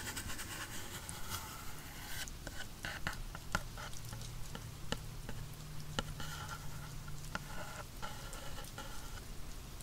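The graphite tip of a wooden pencil taps and scratches the printed surface of a small, hollow, black printed cardboard headphone box lying on its side. Quiet, dry scratching rasps in bright bursts, broken by short, sharp taps that die away almost instantly, over a steady low hum.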